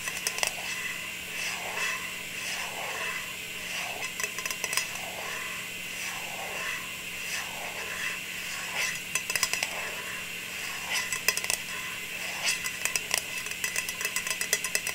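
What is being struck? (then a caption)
Round metal tin lid. Long nails tap and scratch across a round metal tin lid held in the hands with its silver underside facing up. Rhythmic scratching strokes and sharp, bright taps carry a thin metallic ring near 2.6 kHz. The taps cluster more densely toward the end.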